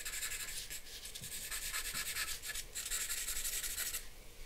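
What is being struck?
Charcoal pencil on a paper sheet.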